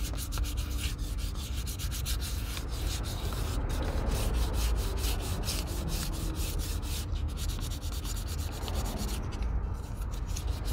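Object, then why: Leather cowboy boot. The worn leather toe of a Red Wing Pecos 9801 cowboy boot is sanded with a small square of sandpaper held under the fingertips during restoration. A steady, gritty rubbing scrape continues throughout, with a heavy low rumble beneath faint bright scratchy flecks, at an even level with no clear breaks between strokes.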